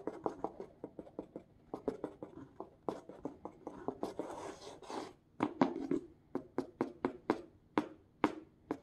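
Hard black plastic claw tips scratch repeatedly across the printed packing tape and cardboard face of a medium, hollow corrugated cardboard shipping box. Quick, dry scratching strokes with a hollow midrange body come in a fast run, blur into a longer continuous scrape, then separate into sharper, evenly spaced strokes.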